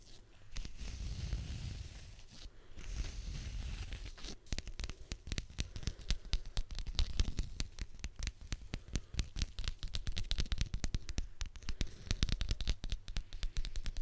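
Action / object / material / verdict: tap / leather belt strap / leather / none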